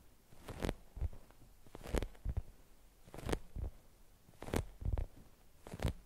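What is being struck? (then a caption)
Polyurethane foam squishy toy. Long acrylic nails tap and scratch the red foam top of a polyurethane foam French-fries squishy toy lying on a beeswax wrap. The result is a string of soft, dull, low thuds in small clusters, with brief bright scratchy brushes and little ring.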